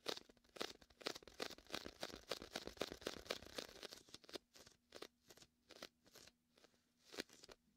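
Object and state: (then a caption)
Inflatable vinyl beach ball. Fingertips and a palm press and peel the sticky surface of a large red and white hollow inflated vinyl beach ball. The result is a rapid run of bright, crackling, tearing pops, with short dry snaps that barely ring. The pops come thick and fast at first, then thin out into separate peeling bursts with quiet gaps between them.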